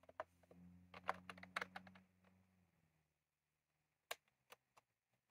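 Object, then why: Plastic mechanical keyboard with round keycaps. Both hands type rapidly with their fingertips on a full-size retro-style plastic mechanical keyboard with round cream plastic keycaps and a plastic case, resting on a desk. A quick flurry of sharp, bright clicky keystrokes plays over a low steady hum for about two seconds. The hum fades out, and after a short silence a few sparse, crisp taps follow.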